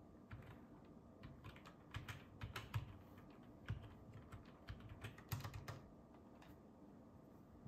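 Fingertips type continuously on a black ergonomic plastic computer keyboard with a hollow plastic housing, resting on a wooden table. Quiet, irregular key taps come in loose clusters, each a short bright click over a low hollow thump that dies away almost at once.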